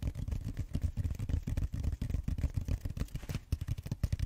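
Fingertips and short nails scratch and squeeze the bead-textured foam on the flat round end of a purple styrofoam roller. The result is a dense, rapid run of dull, muffled scraping and crackling bursts, heavy in the low end with almost no high sparkle.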